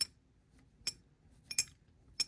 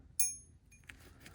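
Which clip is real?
The second.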